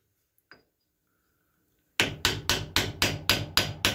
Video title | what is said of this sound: How To Rebuild Case Ingersoll RM Model Mower Decks. | bottom out against that snap ring